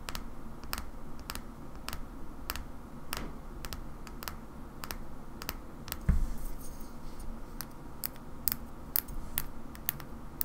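Long fingernails tap the side and shoulder of a small cobalt-blue glass oil bottle held in one hand. Short, bright clicking taps come at a slow, irregular pace over a steady low background hum, with one louder, duller knock about midway through.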